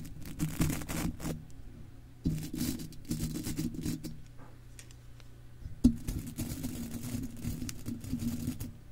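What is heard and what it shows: A stiff-bristled golf club cleaner brush scrubs and scratches across an uncovered, hollow silver metal mesh microphone grille. Dense, raspy bristle scraping comes in uneven bursts, heavy in low, boomy rumble with a faint bright hiss, and one sharper scrape stands out near the six-second mark. Quieter stretches of lighter brushing fall between the stronger strokes.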